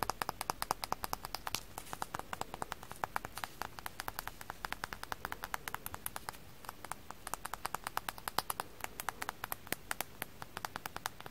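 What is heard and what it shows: A frozen floral foam sponge coated in foam dust is tapped with the fingers, giving a dense, steady run of quick, light, dry patter sounds. The taps are short, sharp clicks with almost no ring over a faint background hiss.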